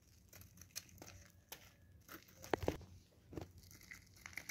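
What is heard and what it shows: A solid blue bar of soap, held in gloved hands, is shaved continuously with a craft knife blade. Soft, dry scraping and crinkly crunching strokes come in short bursts, with a few louder crisp cuts midway through, over a quiet background.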